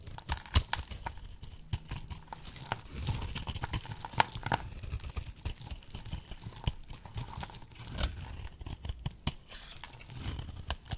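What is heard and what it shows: A solid, oval, pink bar of dry soap held in the hand is cut into brittle shards with a box-cutter blade. The clip is full of dense crunching, crackling and scraping, with sharp brittle snaps as pieces break away over a soft, low rumble of handling.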